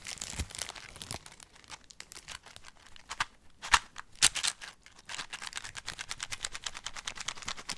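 Fingertips squeeze and crinkle the clear cellophane wrap on a small rectangular cardboard box held in one hand. The result is an irregular stream of bright, dry crackles and short snaps with very little low end. A few louder pops stand out midway before the crinkling picks back up into a quicker, denser patter.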